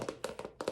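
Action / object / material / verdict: tap / plastic purse / plastic / none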